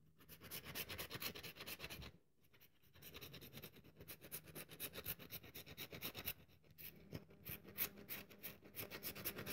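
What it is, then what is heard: Dry bar of soap, crumbling. A rectangular, solid, cream-colored dry bar of soap is held in one hand while long acrylic nails scrape and crumble its surface, letting soap crumbs fall onto a white table. The clip is a fast, uneven run of bright, dry scratching and crackling strokes, with a brief quieter pause near two seconds and another around six and a half seconds.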